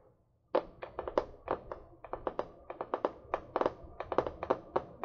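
Fingernails tap a small spiral-bound notebook with a card cover, held upright in one hand. After a brief silence, 24 quick, dry taps follow in an irregular rhythm, each a short, hollow knock centred around 500 Hz with almost no ring.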